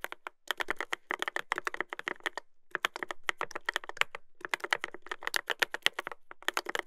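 Fingertips type continuously on a Dolphin 2021 mechanical keyboard with a brass plate and plastic keycaps, producing about fifty sharp, dry clicks centered near 1.9 kHz. The keystrokes come in quick bursts separated by brief pauses, each click stopping almost instantly with no ring.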